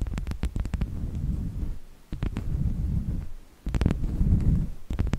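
A wooden object is tapped repeatedly in quick bursts, with no talking. Each burst is a run of short, dry knocks with sharp clicky attacks over a dense, low, dull thudding, separated by brief pauses near 2 and 3.5 seconds. The taps die away almost instantly, leaving no ring.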